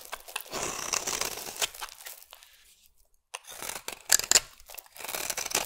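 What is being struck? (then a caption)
Bar of soap scraped with a metal blade. A metal blade scrapes and carves powdery shavings from the edge of a solid oval peach-colored bar soap. It makes dry, bright crinkling scrapes in bursts, with a near-silent pause in the middle and a few sharper crisp cuts near the end.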